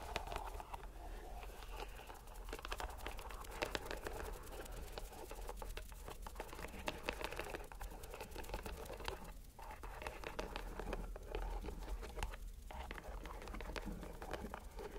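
A fist-sized, soft purple rubber squishy stress ball in a white string net is squeezed and kneaded in one hand by the fingers and palm. The result is a steady stream of quiet, crinkly squelches and dense, rapid crackles over a low rumble, with two brief dips in the texture.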